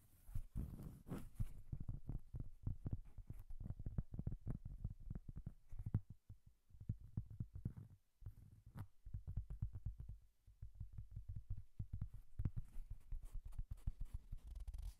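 Long nails tap and scratch the face of a large, round, solid cork coaster held in both hands close to the microphone. The result is a dense run of quick, soft, dull thuds, low and muffled with almost no brightness, each dying away at once. The tapping thins out into quieter stretches around the middle of the clip before picking up again.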